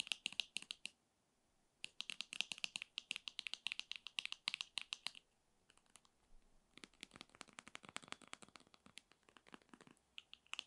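Long nails tap and scratch the surface of a filled, white 60 ml soft plastic tube of foot cream, about 15 cm long. Rapid, dry, bright clicks centered near 2.9 kHz come in quick bursts, with short pauses around 1 and 5.5 seconds. The later bursts are softer and more scratchy.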